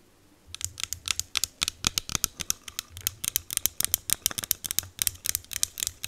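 Long acrylic nails tap and scratch a small 80 ml e.l.f. setting mist bottle in light green plastic with a clear cap, held in the hand. After a brief quiet start, about 35 sharp, dry, bright clicks follow in a quick, uneven run, each dying away almost instantly, with faint scratchy texture and a soft low hum underneath.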